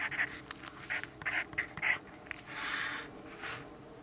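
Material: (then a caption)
Paper. A yellow graphite pencil writes on a lined paper notepad resting on a wooden desk. It makes a series of short, dry scratching strokes centered around 2 kHz with bright edges, then a longer, steadier scrape near the end, with a quiet background between strokes.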